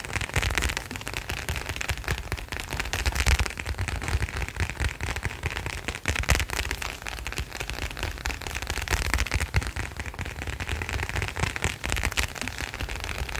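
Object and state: Leather wallet.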